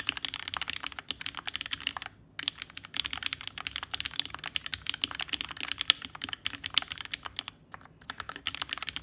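A red, ergonomic Alice-layout TGR Alice mechanical keyboard worth $6000, with vintage black switches, an aluminum case and plate, and pink and white plastic keycaps, rests on a desk mat and is typed on continuously with the fingertips of both hands. Rapid, bright, clacky key presses run in a dense stream with almost no low end. Brief pauses come at about 2 seconds and near 8 seconds.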